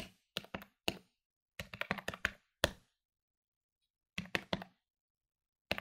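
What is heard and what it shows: Fingertips press the plastic keys of a medium-sized plastic electronic desktop calculator lying on a wooden table. Fourteen short, dry clicky taps come in quick clusters separated by brief pauses, each ending almost at once with a bright edge.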